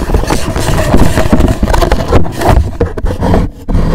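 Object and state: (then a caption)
Cardboard gift box scratched. Fingernails scratch across a hollow black rigid cardboard gift box with a gold logo, turned onto another side. The scraping is loud, rough and continuous, with a deep, hollow, bass-heavy rumble and only brief dips in level.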